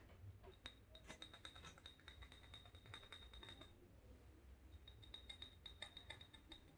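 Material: Glass.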